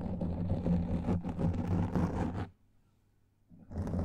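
Fingertips and long nails scratch and rub the surface of a black foam microphone windscreen, producing a dense, muffled, rumbling scrape that is heavy in the low end. The scratching stops abruptly after about two and a half seconds, leaving near silence for roughly a second before the rubbing resumes.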